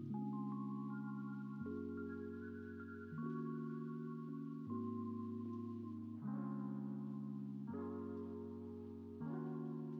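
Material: Nothing is struck.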